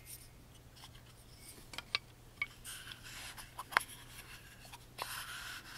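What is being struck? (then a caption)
Small carved wooden box. Fingertips rub across the carved top and sides of a tiny, hollow, closed wooden music box with a laser-cut pattern, held in the hands. Soft, bright scratchy rubbing is heard with several sharp clicks and taps, over a faint low hum.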